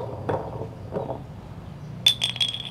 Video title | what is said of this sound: Cara mudah memasang mur tangki sendirian | polikarbonat bunyinya nyaring bisa kawan-kawan kalau dijatuhkan itu terdengar nyaring